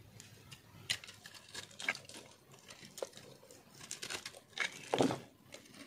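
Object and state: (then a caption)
Dry bar soap being carved. A round, solid, pink-white speckled bar of dry soap is held in the hand and scraped and shaved with a metal blade. Crunchy, crackling scrapes and crisp cuts come in bursts over a quiet background, with bright, gritty crumbling between the louder strokes.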